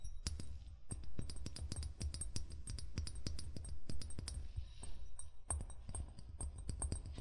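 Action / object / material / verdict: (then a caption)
tap / glass wine bottle / glass / none. Fingertips and short nails tap and scratch along the hollow body and neck of an empty-looking amber glass wine bottle with a gold cap, lying on grey felt. A steady run of quick, dry taps and clicks comes with a low, hollow thump under each one and faint bright glassy ticks on top, with short scratching passes in between.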